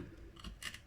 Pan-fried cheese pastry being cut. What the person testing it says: Je sais pas si vous entendez le croustillant, mais ça croustille bien.